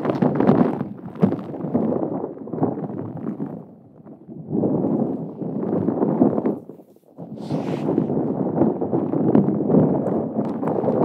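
A hollow, palm-sized, yellow-green spiky rubber massage ball is held close to the microphone while long acrylic nails scratch and squeeze its spikes. The result is a dense, uneven run of rubbery scratching and squeaking, mostly low-mid in tone, with brief pauses. There is a single bright hiss partway through.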